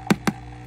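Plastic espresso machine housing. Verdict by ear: Cheap.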